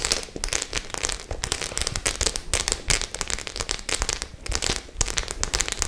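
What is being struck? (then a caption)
Studded faux leather clutch bag. Long nails scratch across the studded surface of a white faux-leather clutch bag. The result is a dense run of quick, bright crackling and clicking scrapes that come in rapid bursts with almost no ring between them.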